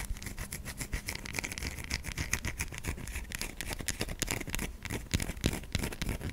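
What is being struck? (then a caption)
Bar of soap. Long pink acrylic nails scratch quickly across the grooved surface of a solid white bar of soap held in the hand. The result is a rapid, uneven run of dry, bright scratching strokes with a soft low rumble beneath.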